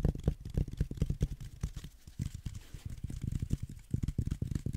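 Fingertips rub and scratch along the velvet body of a hand-sized, green velvet-flocked reindeer figurine with a rigid core, held upright. The result is a dense run of soft, muffled, low scratchy thumps with almost no ring, easing briefly near the middle before picking up again.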